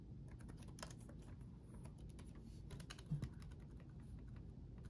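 Both hands type rapidly with their fingertips on the backlit chiclet keyboard of a black laptop, its plastic keycaps set in a solid chassis. The result is a quiet, steady stream of soft, short key taps with bright clicky ticks over a low, dull thud. One louder tap stands out about three seconds in.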